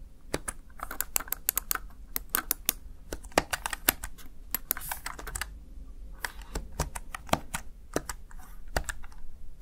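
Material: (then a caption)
Plastic. Fingertips with long nails rapidly press the keys of a small, hollow, backlit plastic Razer Tartarus Chroma gaming keypad. The result is a quick, uneven stream of sharp, bright clicks and taps with almost no ring, over a steady low background rumble.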